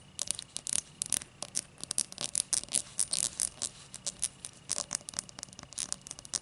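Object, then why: Cut crystal tall glass. Long matte dark nails scratch and tap the thick starburst-cut base of an empty, hollow, clear cut-crystal tall glass. Many quick, bright clicks and scrapes come in irregular bursts, with almost no low end and no ringing after each touch.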